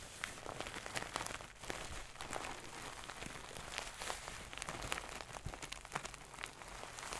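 Long nails quickly scratch the gold satin cover of a medium-soft stuffed pillow close to the mic. A steady, bright scratching hiss fills the clip, broken by many short, crisp ticks and rustles.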